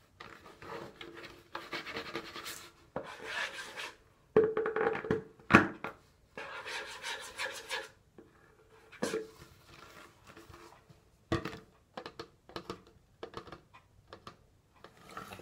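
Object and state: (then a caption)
Plastic wipes canister, hollow. Fingertips and nails rub and scratch along the sides of an orange, hollow plastic cylindrical canister of disinfecting wipes with a paper label, partly full of wipes. Dry, papery scratching comes in uneven bursts of a second or so, separated by near-silent pauses, with a few sharper, brighter scrapes standing out. A faint hollow resonance sits in the low midrange beneath the rasp.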